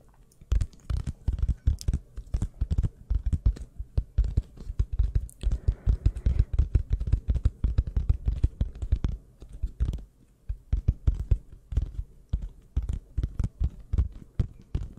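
Two identical toy burger buns of soft polyurethane foam with a sesame print, solid and squishy, are held one in each hand, squeezed and tapped with long acrylic nails. Quick, dull, low taps and soft squishes come in dense bursts with short pauses, each hit dying almost at once.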